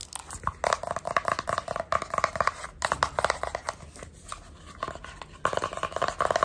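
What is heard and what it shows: Long red nails and fingertips rapidly tap and scratch the surface of a small, hollow, black printed cardboard sunglasses box held in both hands. The result is dense bursts of dry, crinkly clicks and scrapes with a hollow midrange tone and almost no ring. The sound eases into a softer scratchy stretch midway, then returns to loud, quick tapping.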